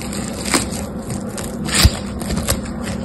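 Two hands with long pink-painted nails knead and crush a fist-sized, solid clump of yellow and green foam beads held in a binder (floam), stretching it, pressing it into a ball and squeezing it apart with fingertips and nails. Many small crackling pops and bright crunches sit over a steady low hum, with a few louder squeezes standing out.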